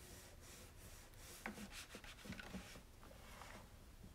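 A cloth rubs over the spout area and top of a white hollow plastic coffee maker while the other hand holds it steady. Soft, steady wiping and brushing fills the clip over a low background rumble, with three light hollow plastic bumps standing out in the middle.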